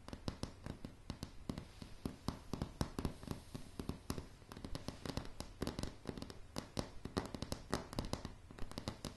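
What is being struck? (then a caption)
Pine floorboards tapped with fingernails. Solid light pine floorboards are tapped rapidly with long, dark, polished nails, producing a continuous stream of short, dry knocks. Each tap has a dull, low thud with a brief bright click on top and almost no ring, and the taps vary in strength throughout.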